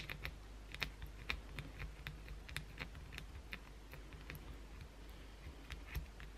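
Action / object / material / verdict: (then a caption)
scrape / bar of soap / soap / none. A solid white bar of soap held in the hand is scratched by long blue acrylic nails, giving quick, irregular dry clicks and scrapes with bright crackle over a low steady hum. Most strokes blur together, with a few sharper peaks standing out.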